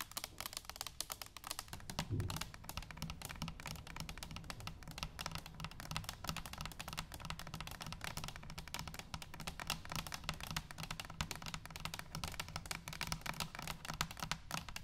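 Long pink nails tap rapidly on a brushed stainless steel hollow cylinder canister, first standing upright and then laid on its side on a table. The taps are quick, light and clicky, with a steady low hollow resonance under them, and each tap dies away almost at once, forming a continuous even patter.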